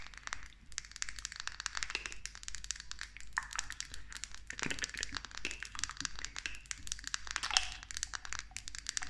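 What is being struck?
Small glass cosmetic bottle with plastic pump.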